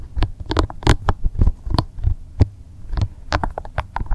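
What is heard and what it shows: Both hands squeeze and rub a small, soft, translucent green rubber spiky massage ball, producing a fast, irregular series of soft, low, thumping squelches over a steady low hum. Brief bright crackles catch on the spikes between the dull pulses.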